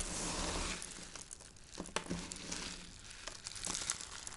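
Dry white soap shavings and powder heaped on a wooden board are crumbled and rubbed between fingertips and palms. The result is a soft, bright crinkling and crunching with many short crackles over a steady hiss, loudest at the start and trailing into scattered small snaps.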